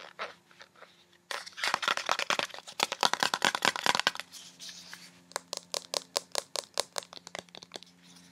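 Long red-painted nails tap and scratch quickly along the body of a small, hollow, partly filled blue-and-white plastic cosmetic squeeze tube with a white plastic cap. A few light ticks lead into a dense burst of fast, crackly scratching and tapping. It then settles into a quicker run of crisp, bright, evenly spaced taps with very short decay.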